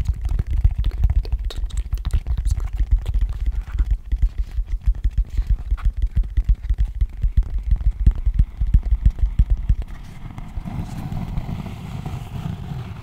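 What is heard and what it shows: Fingertips tap and scratch the cork surface of a long, shallow, hollow cork tray, turned to show the inside. Rapid, uneven, muffled low thumps fill the first ten seconds, then give way to a softer, steady scratching rustle.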